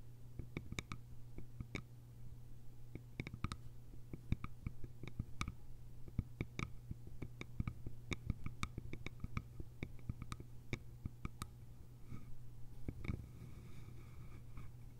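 Long nails tap and scratch the sides of a small, cylindrical, hollow bamboo container with a lid. Quick, irregular, dry clicks with bright tips sound over a steady low hum. Softer scratching strokes come in toward the end.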